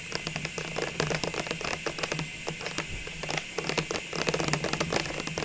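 Long nails tap quickly along the wall of a clear plastic ornament tube full of baubles, held in the hands. A rapid run of short, dry, clicky taps with bright edges and almost no ring comes over a faint, steady low hum.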